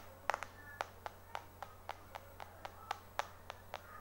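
Right-hand fingertips and short nails tap the glass back of a small, solid white iPhone 4 held in the left hand, quickly and aggressively. Fourteen sharp, dry clicks with a tonal knock around 820 Hz and bright edges die away almost instantly over a low steady hum.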